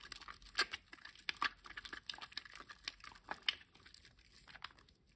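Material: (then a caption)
Soap. A wet, foamy green solid rectangular bar of household soap is rubbed with fingers and palms over a water basin. It makes a quick run of soft, crinkly, squelching crackles, bright and hissy with almost no low end. Sharper crisp pops stand out near the start and middle before the sound thins to a quiet fizz at the end.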